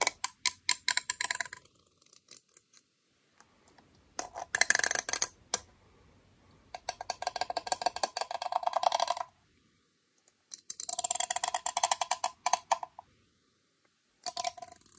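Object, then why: Small closed aluminum tin. The teeth of a comb are scraped and flicked across the edge of a small, round, closed aluminum beard balm tin held in the hand. This produces rapid runs of quick, bright ticks with a faint metallic ring. The ticks come in five bursts separated by short silences.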